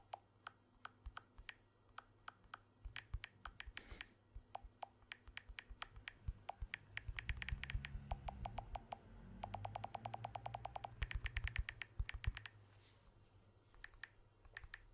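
Fingertips tap rapidly on the surface of a blue smartphone with a glass back and aluminium frame, held in one hand. About 69 short, dry, clicky taps come in quick irregular bursts, some in fast rolls, over a soft low rumble that swells midway. Each tap dies away almost instantly.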